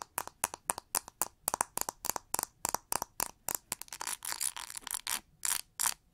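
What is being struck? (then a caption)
Plastic paddle hair brush with pin bristles. Long nails strum and scratch across the pin bristles of a pink plastic oval paddle hair brush with a cushioned pad. Quick, bright, crisp flicks come in a rapid irregular stream, at first separate and then blurring into denser scratchy runs toward the end.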